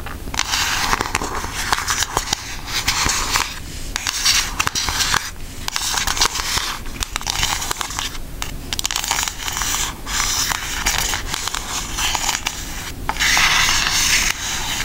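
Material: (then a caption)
Cardboard. Long acrylic nails tap rapidly across a pink Aristocats cardboard eyeshadow palette, a flat hollow case. The sound is a dense, bright run of crisp clicks and crackly scratching, with short dry taps that die away almost instantly over a faint low hum.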